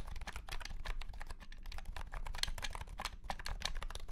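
A white and pink cat-shaped keyboard with round plastic keycaps in a hollow plastic case is typed on with the fingertips of both hands. Fast, continuous keystrokes give a steady stream of short, bright plastic clicks over a low, hollow thump from the case.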